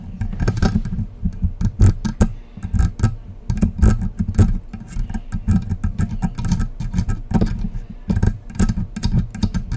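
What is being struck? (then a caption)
Metal condenser microphone body and knobs. Long acrylic press-on nails scratch and tap the hollow silver metal body and side knobs of a condenser USB microphone, about 30 cm tall, standing on its stand. A rapid, irregular stream of short taps and scratches is heard, mostly a dull low thump near 94 Hz with bright clicky edges, each dying away quickly.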